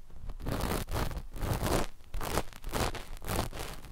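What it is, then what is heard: Knit fabric scratched with cotton swabs. A flat sheet of dark black knit fabric laid over microphones is scratched with the cotton tips of two cotton swabs held in both hands. The result is a steady run of rough, rustling scratch strokes with a strong low rumble, short dips between passes and little bright top end.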